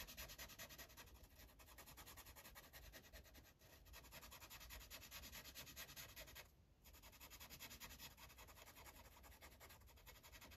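A yellow Sharpie marker's felt tip rubs back and forth across a thin paper coloring page on a clipboard in steady coloring strokes. The result is a continuous, bright, scratchy rubbing with a low hollow undertone, broken by a brief pause about two-thirds of the way through before the strokes resume.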